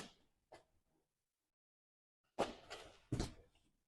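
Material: Rubber and steel.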